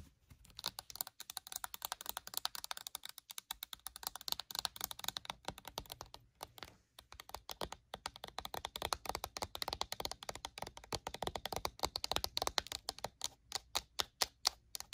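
Long acrylic nails tap rapidly on the flat side panel of a pink rectangular plastic pump bottle of body lotion that lies on its side and appears full. The result is a dense run of quick, dry, bright clicks with almost no ring, sounding much like fast typing on a keyboard. There are brief pauses near one and a half, six and a half, and eight seconds.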